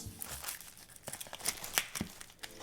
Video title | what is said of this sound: Crispy Chicken with Ginger Scallion Oil Recipe | Just listen to how crispy that is